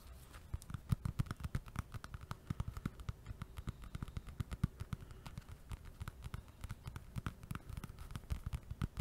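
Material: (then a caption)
Foam. A small, solid, soft blue foam stress ball with a white logo is held in one hand next to the microphone and tapped and scratched with fingertips and nails. Rapid, quiet, dull thuds fall in an uneven, steady patter, mostly low in tone. Each tap stops dead with no ring, and faint scratchy bursts sit between them.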